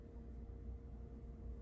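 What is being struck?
Nothing is struck.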